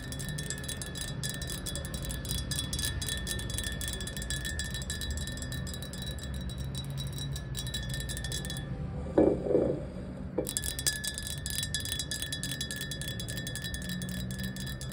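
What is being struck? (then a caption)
Glass jar with water. Long acrylic nails tap quickly and continuously on the sides of a tall, clear, hollow glass jar with a little water at the bottom, standing upright on tile, producing a dense stream of bright, clicky taps over ringing glassy tones. Near the middle the rapid tapping briefly stops, and a few louder, lower knocks ring out before the fast tapping resumes to the end.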